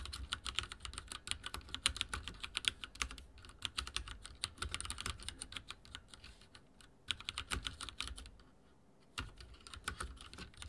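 Fingertips type rapidly on a backlit mechanical keyboard with dark plastic keycaps and a silver frame. It makes a dense stream of bright, short plastic clicks and clacks with a low thump beneath. Brief pauses break the typing, including a near-silent gap before it resumes toward the end.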